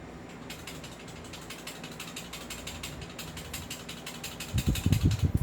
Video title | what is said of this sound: Review and Unbox of M4A1 Daniel Defense and The God Father | Kumakalog kasi hindi siya upgraded. Hindi naka-fix outer barrel.